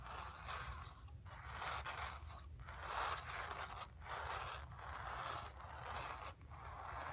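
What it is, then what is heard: Painted cotton canvas, scratched. Long nails scratch across the surface of a stretched, painted cotton canvas in a series of repeated strokes, separated by brief pauses. Each stroke makes a dry, raspy scrape centered in the midrange with a bright hiss, over a faint steady low rumble throughout.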